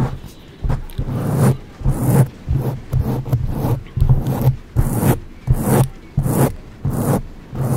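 Long acrylic nails on both hands scratch a soft, porous black foam windscreen on a silver condenser microphone. Nine separate scratching bursts each bring a heavy low rumble with a bright, hissy rasp on top, separated by brief quieter gaps, at an uneven pace.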